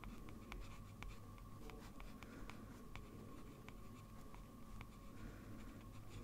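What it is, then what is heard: Paper sheet scratched by a pen nib. A metal fountain pen nib scratches short, dense strokes across a large flat sheet of white drawing paper while the hand rests on the paper. Quick, irregular scratchy ticks sit over a steady low hum and a faint constant tone, all at a quiet level.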